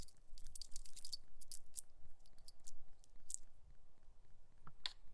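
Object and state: Plastic seedling tray tapped with a nail.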